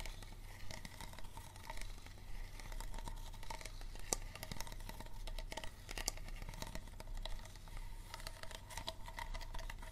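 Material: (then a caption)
Plastic. Fingernails tap and scratch a small, empty, hollow clear plastic Dasani bottle with a green cap, working over its star-shaped base and labeled side. Quick, dry, hollow clicks and bright scratchy rasps come in a steady flurry over a constant low hum.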